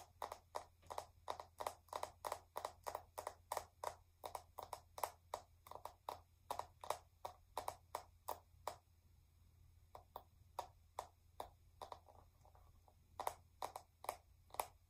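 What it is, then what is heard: Metallic plastic lipstick tube. Long nails tap a small metallic silver plastic lipstick tube held upright close to the mic, making about 50 short, bright clicks that ring near 860 Hz and fade almost instantly. The taps come quickly and evenly, then thin out and soften after about nine seconds before picking up again near the end. A steady low hum runs underneath.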